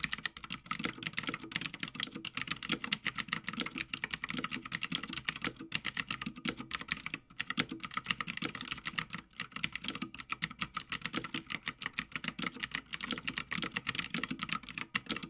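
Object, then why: Mechanical keyboard with plastic keycaps on a metal plate. Fingertips of both hands type rapidly on a full-size backlit Havit mechanical gaming keyboard with plastic keycaps on a brushed metal top plate, resting on a dark desk. A dense, steady stream of short, bright clacks with almost no ring rolls on throughout, broken only by brief pauses near 7 and 9 seconds.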